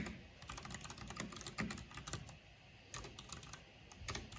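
Fingertips with long painted nails type on a black plastic backlit mechanical keyboard with hollow plastic keycaps. The result is a quick, uneven run of bright, short clacks with a hollow low thump beneath, pausing briefly midway before the tapping resumes.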